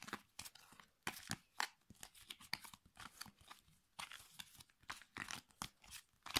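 Fingertips flick, riffle and rub the edges of a thick, solid stack of glossy, printed cardboard affirmation cards against each other while shuffling them over a pink felt surface. The result is a quiet, rapid series of bright, crisp snaps and papery crackles with little low end, each burst dying away almost instantly.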